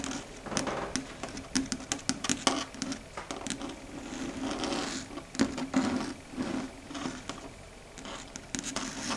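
Long red stiletto nail tips tap quickly on a flat, solid, dark grey chalkboard surface. The result is a dense patter of short, sharp, bright clicks with light scratchy textures over a steady low hum around 266 Hz, varying in loudness throughout.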